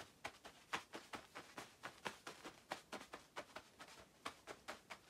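Long acrylic nails scratch across the quilted padded panels of a shiny black nylon down puffer jacket with both hands. About 22 quiet, quick, irregular scratchy swishes are heard, crisp and bright with almost no low end. Each one dies away almost at once.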